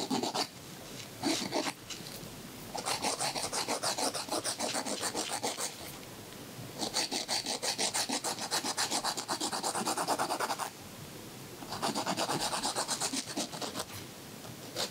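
A thin white emery board is drawn back and forth across the edge of a fingernail in continuous filing strokes. The result is a dry, bright, raspy scratching that comes in fast, steady runs, separated by brief quiet pauses.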